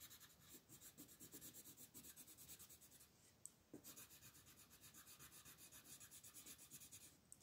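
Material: Paper.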